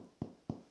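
Two knocks on a freshly baked sourdough loaf just out of the Dutch oven give short, dull, hollow thuds centered low around 200 Hz that die away quickly. The hollow sound indicates the bread is cooked through.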